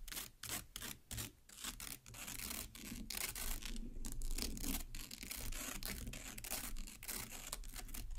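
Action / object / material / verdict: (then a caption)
scrape / watermelon flesh scraped by long fingernails / watermelon flesh / none. A single long black nail stabs into and scrapes the red pulp of a large watermelon half, cut side up. It makes quick, uneven, wet scratchy rasping strokes, about four per second, with bright crackle over a low rumble. The short separated strokes at the start run together into a continuous scraping.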